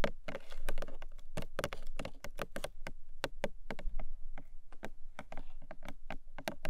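Long nails tap the top face of a long, narrow, hollow pink paperboard product box lying flat. The sound is a quick run of light, dry clicks with a low hollow body and a short, bright edge, each tap dying away almost at once.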